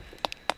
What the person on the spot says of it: it sounds Hollow that means it's ready